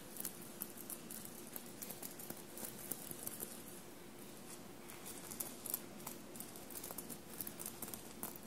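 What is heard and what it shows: Short blue-painted nails tap and scratch a dark blue soft shirt bunched on a table and covered in small silver paillette studs. The result is a quiet, steady patter of bright, crisp clicks and light scratchy rustles, with a faint low hum underneath.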